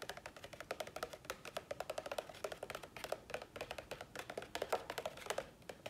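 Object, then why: Plastic plant pot. An empty, hollow, medium-size dark green plastic nursery pot is held up in one hand and tapped quickly with the fingertips and nails of the other hand. A rapid stream of light, dry, hollow clicks with a mid-pitched tone around 630 Hz and bright nail ticks, each dying away almost instantly.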